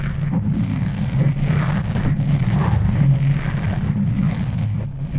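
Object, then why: Foam microphone windscreen. Both hands scratch and rub the soft, porous black foam windscreen on a tabletop microphone with long natural nails and fingertips. The result is a steady, dense, low rumbling scratch with a muffled, boomy texture and almost no high or bright content.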